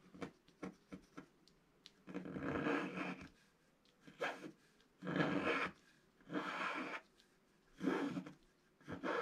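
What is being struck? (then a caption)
Scratch-art paper sheet scratched with a wooden stylus. A wooden stylus drags slowly across a flat, black-coated scratch-art paper page. Quick light ticks give way to longer rasping scratches with a breathy, bright edge, separated by near-silent pauses.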